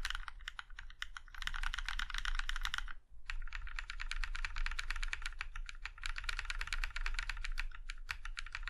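Fingertips of one hand tap individual keys, including the arrow keys, on a Plum Iron 165 compact mechanical keyboard with a plum-red aluminum case and black keycaps. The result is a rapid, steady stream of crisp, bright clicks with a brief pause around three seconds, over a constant low hum.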